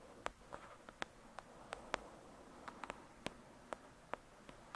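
Long pointed dark red nails tap and scratch on the glossy card front cover of a thick paperback novel lying angled on a fluffy surface. Fifteen short, crisp, quiet taps with bright clicky tops and almost no ring are spaced irregularly over a soft, low hiss. Between them the nails give a faint scratching rustle.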